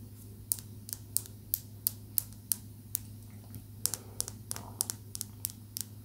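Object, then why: Small polished calcite stone. A small, smooth, solid green calcite tumbled stone held in the fingertips is tapped with long nails about twenty times, giving short, sharp, bright clicks that stop at once. The taps come at an uneven pace, with a quicker cluster near the end, over a steady low hum.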